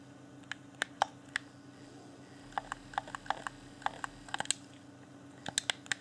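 Thumbs and fingertips rapidly click the buttons of a hand-sized, hollow, transparent plastic Xbox One Afterglow game controller held in both hands. About 17 short, sharp, bright plastic clicks come in irregular bursts with pauses between them, each dying away almost instantly over a faint steady low hum.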